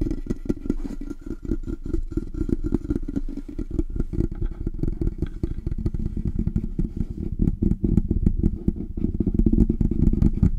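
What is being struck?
Metal desktop microphone body.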